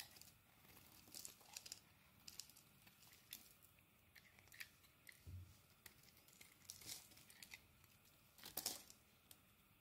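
A metal utility blade scrapes curled shavings off a solid purple soap bar held in the hand. Quiet, crisp scraping and crinkly, tearing strokes come in short bright bursts, with a brief low thud near the middle and a louder cluster of scrapes near the end.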